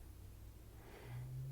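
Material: Nothing is struck.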